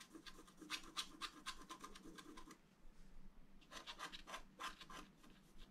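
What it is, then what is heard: Scratch-art paper being scratched. A wooden stylus scratches lines into a thin, solid, flat black wax-coated scratch-art card. The result is a run of quick, dry, bright scratching strokes, a brief quieter pause, and then another burst of strokes.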